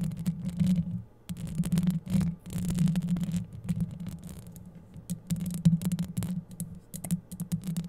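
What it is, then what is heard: Metal mesh microphone grille scratched with nails. Long yellow acrylic nails scratch and brush across the hollow, dark metal mesh grille of a microphone head. The result is a close, dense, low rumbling scrape with a steady hum-like tone near 164 Hz and faint bright crackles. It comes in continuous bursts separated by brief pauses.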